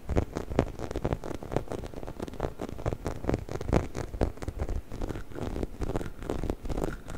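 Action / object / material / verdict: scrape / textured rubber toy chicken / rubber / none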